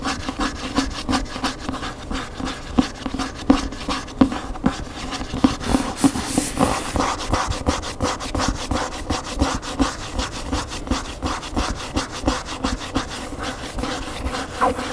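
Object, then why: Paper hardcover book. Fingernails scratch the glossy printed back cover and along the spine edge of a large hardcover cookbook standing upright. The result is a steady stream of dry, papery rubbing and scraping strokes, irregular in rhythm, with a mid-range body and only a little high hiss.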